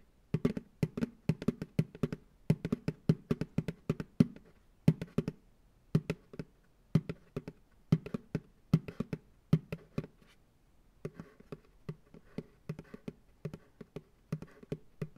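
Fingertips tap rhythmically on the base of a medium, hollow, empty white plastic ice cream pail turned upside down on a lap. The taps are dull, hollow thumps with a low body around 230 Hz and almost no ring. They come in quick clustered bursts with short pauses, falling briefly silent near ten seconds and then continuing a little softer.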